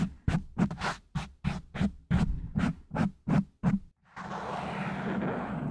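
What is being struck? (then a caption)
Foam microphone windscreen. Fingertips and short nails of both hands tap and scratch rapidly on a large, soft, porous black foam windscreen covering a silver condenser microphone. A quick, uneven run of muffled, thumpy scratching bursts gives way to a continuous, steady rustling scrape that lasts to the end.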